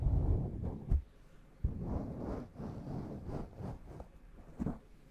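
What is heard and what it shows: A black foam windscreen covering a large microphone is gently rubbed and scratched with fingertips and long nails. It makes irregular bursts of soft, muffled, low rumbling friction with a few sharper thumps, with almost no high-frequency content.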